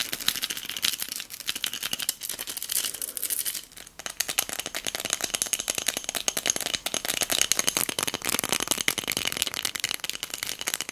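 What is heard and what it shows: A small pink hobnail-textured glass votive cup filled with pearl beads is tapped with long nails and shaken, making fast, dense, bright clicking and rattling with almost no low end. The clatter runs continuously for about eleven seconds, easing briefly near the four-second mark before picking back up.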